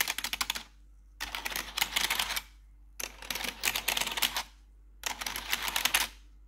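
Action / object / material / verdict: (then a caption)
tap / plastic computer keyboard / plastic / none. Long metal claw nails tap rapidly across the keycaps of a black plastic RGB backlit computer keyboard in four bursts separated by short pauses. The clicks are bright, clattery and dry, with almost no low end and little ring.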